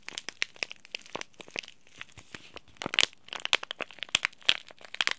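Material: Plastic foil.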